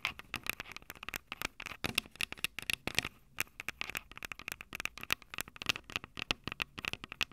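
Long purple acrylic nails on both hands tap and scratch the two silver metal X/Y mic capsules on top of a Tascam DR-05 handheld recorder with a small plastic body. The result is a fast, irregular stream of sharp, bright clicks and scratches, each with a faint metallic tone around 2.4 kHz that dies away almost instantly. There is very little low end.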